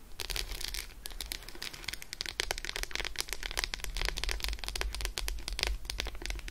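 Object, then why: Solid milk chocolate bar scratched with fingernails. Long acrylic nails scratch rapidly over an unwrapped solid Roshen milk chocolate bar, first held and then resting on faux fur. Dense, bright, crisp ticks and scrapes come in quick continuous bursts over a steady low hum.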